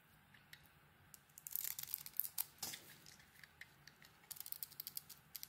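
A metal blade scrapes the green dotted coating off a solid translucent bar of soap held in the hand. The result is a series of quiet, bright, crackly scrapes and crisp ticks, with a denser burst of rasping in the middle.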